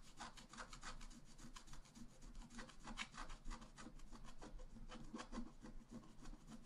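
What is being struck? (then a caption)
Black-coated scratch-art paper scratched with a wooden stylus. A wooden stylus scratches the coating of a flat black-coated scratch-art page lying on a table, the page held flat by the other hand. Steady, quick strokes make a run of short, dry, rasping scratches with bright edges over a constant low hum.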